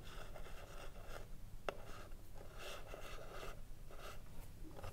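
Long nails scratch and tap the printed front panel of a hollow wooden cigarillo box standing upright. Soft, dry scratching comes in repeated bursts, broken by a sharp, brief tap with almost no ring, all over a low, steady rumble.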